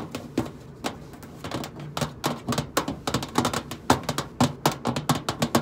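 Long pointed nails tap the side panel of a hollow stainless steel microwave casing one finger at a time, making a quick, uneven run of short, dry clicks. Each tap has a bright edge over a hollow, mid-pitched body and dies away almost at once.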